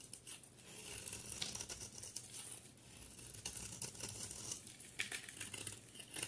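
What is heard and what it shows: A solid rectangular bar of soap with a yellow outer layer and a cream core is held in one hand and shaved with a utility knife blade, and the flakes fall away. The result is a steady, bright, crisp scraping and crinkling, broken by sharp little snaps as the blade cuts through.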